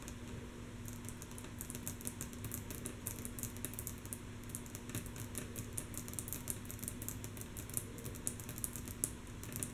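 The long natural nails of both hands tap rhythmically, mostly softly, on a solid, flat, light wooden tabletop, with one hand resting flat at the start. Quick, dry, bright clicks patter in a steady stream over a faint low hum, with a few slightly sharper taps near the end.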